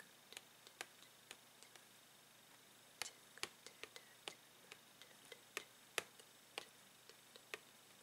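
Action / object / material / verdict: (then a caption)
tap / thin clear plastic blister pack with card backing / plastic / none. Fingernails tap the clear plastic bubble of a Tangle toy's blister pack, which has a card backing. About two dozen quiet, sharp, bright clicks come at an uneven pace over a faint steady hiss, each dying away almost instantly.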